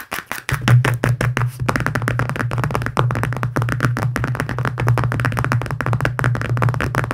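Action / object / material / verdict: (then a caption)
tap / plastic phone case / plastic / none. Fingertips with short nails tap fast on the back of a thin, hollow, transparent plastic phone case decorated with pink cartoon stickers, lying on dark fabric. A dense run of quick, light, hollow clicks with short sharp attacks continues throughout. After the first half second, a steady low hum sits beneath the taps.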